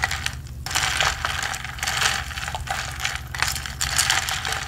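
A ridged blue plastic straw, held by the fingertips, is pumped up and down through the lid hole of a medium blue, hollow plastic tumbler with a textured double wall and a lid. It makes a dry, bright rubbing and ratcheting rasp that comes in repeated bursts over a low, steady hum.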